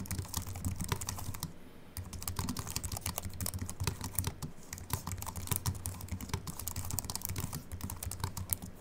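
Both hands type with their fingertips on a slim Apple Mac keyboard, which has an aluminium body and white plastic keys and rests on a wooden desk. The steady run of quick, dry key clicks carries bright tapping over a soft low thud beneath each stroke, pauses briefly near the two-second mark, then resumes at an even pace.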